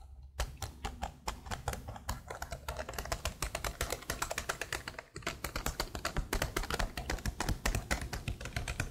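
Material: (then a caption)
Plastic. Long blue nails and fingertips type rapidly on a black plastic laptop keyboard. A dense, uneven stream of short, sharp clicks and taps plays over a steady low hum, with a brief pause about five seconds in before the fast typing resumes.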